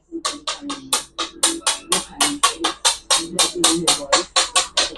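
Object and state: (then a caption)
Petrified wood, stone-like rather than ordinary wood. A large piece of petrified wood, turned to stone with crystallized areas, is tapped in a rapid series of about twenty sharp, bright clicks, each with a short ring around 1.1 kHz. The hard, stone-like ring, unlike ordinary wood, shows the wood is petrified.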